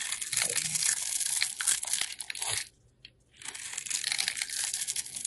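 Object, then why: Bar of soap. A solid yellow oval soap bar held in hand is cubed and shaved with a metal box cutter blade, making dense, bright crunching and crinkling scrapes. The cutting pauses into near silence around the three-second mark, then the crisp shaving resumes to the end.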